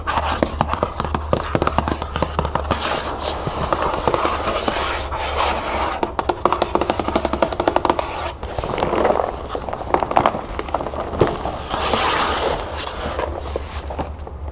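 A medium-size Reese's Puffs cardboard cereal box, hollow and partly filled, is held up and turned in the hands while long acrylic nails tap and scratch across it. Dense, rapid clicking taps mix with dry scratching and crinkly rustling over a steady low hum, each tap dying out almost instantly.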